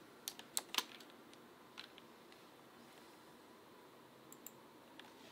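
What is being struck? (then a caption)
Mechanical keyboard with plastic keycaps. Fingertips tap the plastic keycaps of a backlit full-size Asus ROG Claymore II mechanical gaming keyboard with RX Blue switches, the keycaps sitting on its housing, in a dark room. About ten sharp, bright, quiet clicks come in a quick cluster at first, then sparser taps follow over a faint steady hiss.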